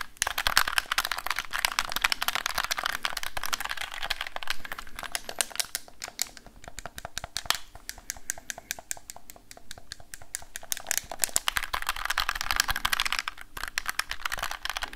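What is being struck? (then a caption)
Handheld plastic gamepad. A black, hollow, handheld plastic gamepad is held in both hands near the recorder and tapped and scratched with fingertips and nails. The result is a dense stream of quick, dry clicks and scratchy, bright rustling that swells, thins out in the middle and builds again, with each tap dying away almost at once.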